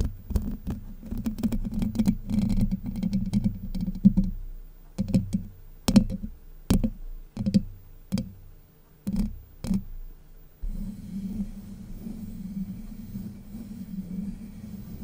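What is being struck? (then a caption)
Steel mesh microphone grille. Long white nails scratch and tap the hollow domed steel mesh grille of a Blue Yeti microphone. Dense, low scratching with a hum around 195 Hz runs for about four seconds, then gives way to separate sharp taps. After a short quiet gap, steady scratching returns until the end.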